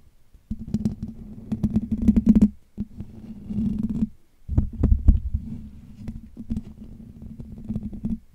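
Fingertips tap and scratch the hollow metal wire-mesh dome grille of a Blue Yeti USB microphone, producing dense, muffled low thumps and rustling scrapes over a steady low hum. The sound comes in three bursts separated by brief silences, with quick, irregular taps that die away almost instantly and no bright ring.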